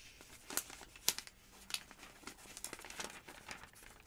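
Long-nailed fingertips turn the thin yellow pages of a thick paper phonebook lying open. Soft, bright papery crinkles and rustles are punctuated by a few sharper, crisp page flicks that stop quickly with no ring, and there is almost no low end.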